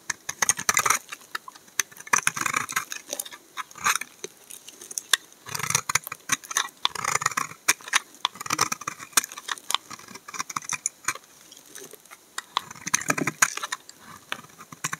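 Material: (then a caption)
Soap. A utility knife blade scrapes fine curls off a solid, translucent amber laundry soap bar held in the hand. It makes crisp, bright, papery scraping strokes in quick bursts with short pauses between them. There is almost no low end and no ring after each stroke.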